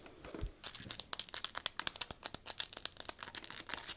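Black metal and plastic binoculars with a leather strap, on a table and in the hands, are tapped and scratched on the body with long nails. A quiet scratchy rustle and a soft low thump give way to a rapid run of bright, crisp clicking taps that stop dead with no ring.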